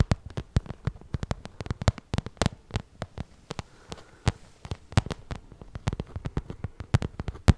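Long nails tap and scratch the glossy surface of a small shiny pink vinyl zippered cosmetic bag held in both hands. The result is a rapid, uneven series of short, dull, low taps that stop almost instantly, with faint bright clicks and soft scratching between them.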